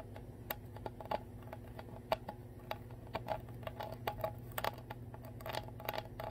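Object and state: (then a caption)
Plastic water bottle bottom, tapped. Long nails tap and scratch the ridged clear plastic bottom of a full Core water bottle held upside down. The result is a quiet, irregular run of dry, short plastic ticks and clicks, centered around 650 Hz, mixed with soft scratching. A steady low hum runs underneath throughout.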